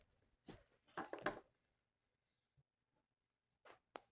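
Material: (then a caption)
Paper. A felt marker tip rubs across a thin, flat paper mandala coloring sheet. It makes soft, scratchy strokes in an uneven cluster near the start, then quiet, and a few brief bright swipes at the end.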